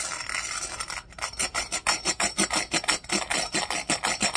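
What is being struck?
Embossed glass drinking cup scrubbed with plastic bristles.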